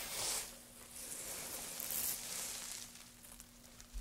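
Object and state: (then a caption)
Wood shavings dropped onto a pile. Gloved hands lift handfuls of thin wood shavings and drop them onto a pile of shavings, making soft, bright rustling and crackling. Two louder bursts of crisp, high hiss stand out, near the start and around the two-second mark, over a faint steady low hum.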